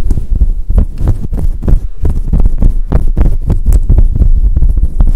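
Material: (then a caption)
Synthetic fur. Long acrylic nails scratch and rub a grey and white fluffy faux fur windscreen covering a microphone. The result is a steady run of deep, muffled thumps and rumbling brushes at a low pitch, with almost no high-frequency content.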